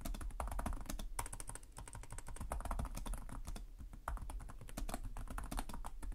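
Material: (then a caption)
Plastic. Both hands type continuously with their fingertips on the plastic chiclet keys of a black laptop keyboard. The result is a dense, steady stream of quick, soft clicks and taps over a low, muffled thump, with only brief lulls in the rhythm.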